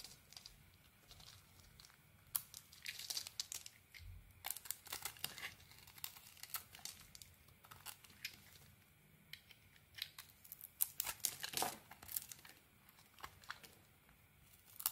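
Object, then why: Bar of soap. A small metal blade carves and scrapes crumbly chunks off a solid white bar of soap with remnants of a purple coating, held in the hand. It makes quiet, bright, dry crackling and crunching scrapes in quick irregular bursts, with very little low end.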